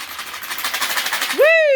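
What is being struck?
Plastic bottle filled with small loose items.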